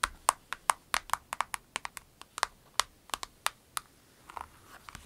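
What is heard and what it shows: A clear orange-tinted vinyl pencil case, a small flat pouch with orange piping and a snap flap holding pencils and pens, is held on a table while long acrylic nails tap and scratch its surface. Crisp, short clicks with a hollow ring around 1 kHz come in a quick, uneven run with bright tops. Near the end they soften into lighter scratching.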